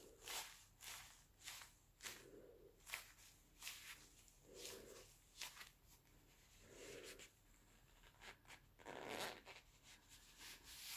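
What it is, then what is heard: Leather gloves rubbing. Black leather gloves on both hands, worn with a metal wristwatch, are slowly rubbed and slid against each other at the palms and fingers. The result is a quiet, smooth leather rubbing sound: a series of soft, bright swishes and squeaks rising and fading, with occasional duller, lower strokes between them.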